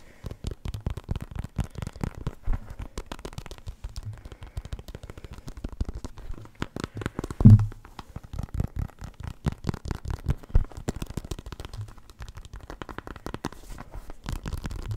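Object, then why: Synthetic leather soccer ball. A full-size black and white soccer ball with a synthetic leather panel cover, hollow and inflated, is held beside the microphone and tapped and scratched with the fingertips. A dense stream of quick, soft, hollow low thuds and light scratchy crackles continues throughout, with one stronger, deeper thump at about 7.5 seconds.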